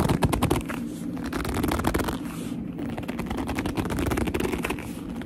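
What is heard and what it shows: A medium black leather handbag with a soft, hollow body is squeezed and scratched by long almond-shaped nails in squeaky gripping motions. The result is a dense run of quick scratchy clicks and squeaks over a low, muffled rumble, loudest in the first half-second and continuing steadily to the end.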